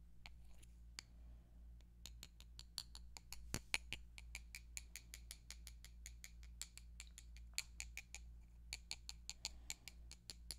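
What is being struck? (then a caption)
Two wooden pencils. Two thin, solid wooden colored pencils, one red and one purple, are tapped and rubbed against each other close to a microphone. The result is a quick, uneven run of sharp, bright clicks that die away almost at once, with faint scraping between taps. A steady low hum sits underneath throughout.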